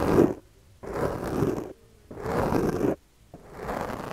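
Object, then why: Foam microphone windscreen and plastic comb. The teeth of a yellow plastic comb, held in the fingers, scratch and rake across a soft, porous black foam windscreen on a microphone while the other hand steadies the mic. Four passes of rough, close scratching are heard, each a dense low-to-mid rasp separated by short silences.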